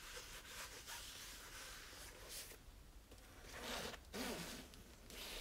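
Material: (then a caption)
Cloth. A small red cloth-covered hardcover book is held in the hand while its cover is wiped and rubbed with a cloth. Soft, bright swishing strokes run continuously as a breathy, zipper-like hiss, with a couple of louder, slightly squeaky passes near the end.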